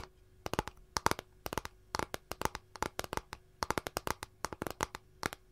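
Long nails tap and scratch near the edge of a flat, empty capiz shell tray. Dozens of quick, crisp clicks come in irregular bursts, each with a bright, thin tone around 900 Hz that dies away almost instantly, over a quiet background.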